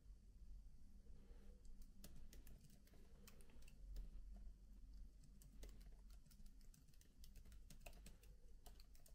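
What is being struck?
Laptop keyboard with plastic keys.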